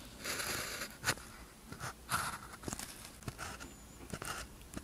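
A blue ballpoint pen tip scratches across a thin white paper practice sheet with a red grid lying flat, writing strokes. Quiet, dry scratching and bright papery hiss come in bursts, punctuated by short, sharp ticks as the pen touches down and lifts between strokes.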